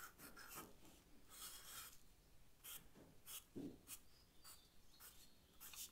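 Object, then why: Charcoal stick on paper sketchbook. A charcoal stick is drawn across the paper of a sketchbook in short rasping strokes. Quiet, dry scratchy bursts with a bright hiss come at an uneven pace, with a faint low rumble underneath.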